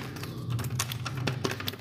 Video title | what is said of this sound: Recommend tinted clear view | pakai tinted yang biasa dia macam ada dia hampir sama tapi macam ada kosong